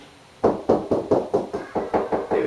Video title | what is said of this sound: Build a Kitchen - Stage3 DO the Install | you bang until you hear more solid sound there we go you can hear there's something there